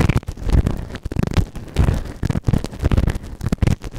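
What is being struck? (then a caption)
Silicone ear-shaped microphone scraped with a plastic ear tool. A white plastic ear tool held in fingertips scrapes inside the canal of the right ear of a grey silicone ear-shaped microphone, soft and solid, on a round base. A rapid run of close, boomy scratches and crackling rubs is heard, dense and heavy in the low end with almost no brightness.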